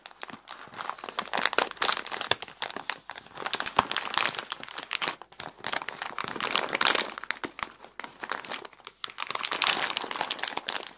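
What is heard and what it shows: Long decorated nails scratch, tap and crinkle a large clear plastic bag full of dry wavy egg noodles (900 g). The result is dense, bright crackling and crinkling with rapid sharp ticks, rising and falling in several waves with brief quiet gaps.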